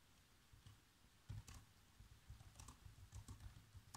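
Fingertips type on the black plastic keys of a laptop keyboard, typing out a movie script. Quiet, irregular taps are heard, each with a soft low thump and a brief bright click that dies away quickly over a faint steady background.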